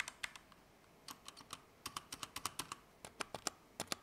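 A compact Keychron K2 mechanical keyboard with Gateron Red switches, plastic keycaps and an aluminum frame is typed slowly with the fingertips. About 22 separate keystrokes produce short, crisp, bright clacks with almost no low end, with quiet gaps between irregular bursts.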